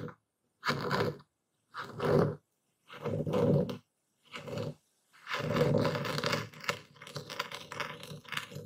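A dark stone pestle is plunged and twisted into a wooden bowl full of coarse white Epsom salt while a hand grips the bowl, crushing the crystals. Five short gritty crunching bursts separated by silence give way to a longer continuous grinding crunch with crackling spikes. The sound is dense, with a low body and crisp granular texture.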